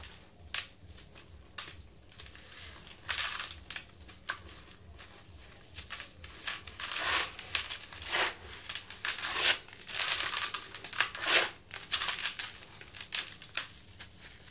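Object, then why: Sand-cement block. Hands squeeze and crush lumps of dry yellow sand-cement block in a blue bucket, with powder falling between the fingers. Irregular bursts of gritty, bright crunching and crumbling rise and fade, separated by quieter stretches of faint crackle over a low, steady hum.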